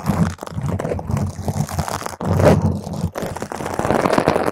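Long, pointed green acrylic nails on both hands scratch intensely at a purple spherical foam cover on a microphone. The result is a dense, continuous crunching and crinkling rustle, heavy in the low end and muffled with little brightness. It pauses briefly around 0.4, 2.2 and 3.1 seconds before resuming.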